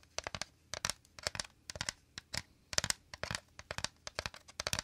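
Fingernails and fingertips rapidly scratch and tap the woven interior of a shallow, empty, round bamboo/wicker basket held to the right. The result is a dense run of about 26 quick, dry, crackly scratches and taps, bright and crisp with little low end. Each one dies away almost instantly.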